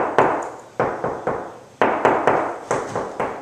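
Knuckles knock repeatedly on a wall of two layers of gypsum drywall bonded by a thin viscous Green Glue damping layer. Each knock is a dull, muted thud centered in the midrange, with little ring and a quick decay. The damping layer deadens the wall.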